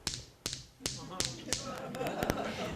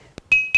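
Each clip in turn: First: sandstone grinding stone, dull non-musical tap. Second: dense stone lithophone, musical ring.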